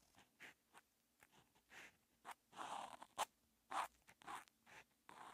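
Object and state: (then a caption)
Felt-tip marker writing on paper. A felt-tip outline marker held in the fingers is dragged across a flat paper practice notebook with a red grid, lying on a desk, writing Chinese characters. Twelve short, dry scratching strokes come in irregular bursts, centered in the midrange around 900 Hz with a bright, papery hiss. Each stroke ends abruptly, with quiet gaps in between.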